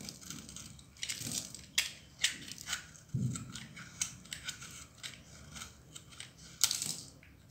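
A solid, dry pink bar of soap held in the palm is cut and shaved with a metal utility knife blade, breaking into crumbly shards. Bright, dry crunching and scraping sounds come in quick bursts, with a few sharper cracks standing out. Short soft crumbling noises fill the gaps between them.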